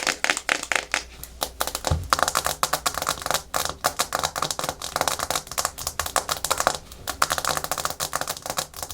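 Natural fingernails tap fast and aggressively on a hard plastic surface, making a dense stream of short, dry, bright clicks like rapid typing. The clicks come in quick bursts with little ring, and a brief low thump is heard near the two-second mark.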